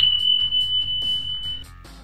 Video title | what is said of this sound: Rocks that produce music - Ringing rocks of Northeast India | when you hit this type of rock with a hard substance it produces a bell-like sound